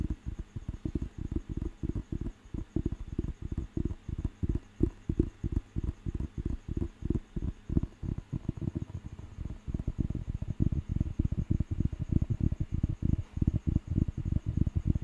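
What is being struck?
Paper dictionary book.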